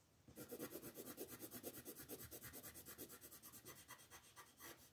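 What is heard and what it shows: The tip of a wooden colored pencil rubs quickly back and forth across a flat paper coloring book page resting on a table, shading it while a hand with long nails holds the page. A steady run of soft, raspy scratching strokes follows, each a brief bright scrape with a papery midrange body.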